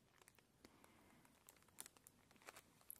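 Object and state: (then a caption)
Clear plastic bag. A sealed transparent plastic bag with a paper label and a small item inside is handled and crinkled with long nails over a pillow. Quiet, irregular crinkles and sharp, bright ticks and taps come in scattered bursts. There is little low end and almost no ring after each sound.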